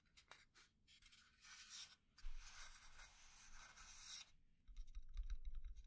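Fingernails slowly scratch and tap along the grain of a small hollow pine wooden box. Bright, dry rasping strokes fill the first four seconds. After a short pause comes a quick run of light taps with a soft low thump from the hollow body.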